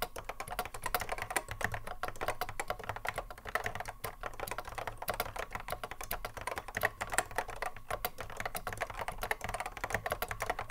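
Fingertips of both hands touch-type continuously on a cream Apple M0110A keyboard with a hollow plastic case and Alps SKCC mechanical switches, sitting on a wooden desk. The result is a steady, rapid stream of crisp, clacky keystrokes with a bright, hollow plastic tone that stops sharply after each press, over a faint low hum.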